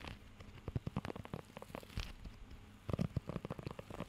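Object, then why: Rubber grooming glove with raised nubs. Fingertips scratch and tap across the raised nubs of a blue rubber pet hair grooming glove held close to the mic. Quick, dull, low-pitched taps and soft scratchy rustles come in irregular bursts, with a brief quieter stretch in the middle before a denser cluster of taps.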